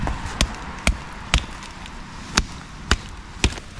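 A plastic hose from a motorcycle, found while magnet fishing and turning out to be insulating tape wrapped around copper, is knocked six times. Each knock is a short, dry thud with a bright clicking edge that dies away almost at once, heard over a steady background hiss.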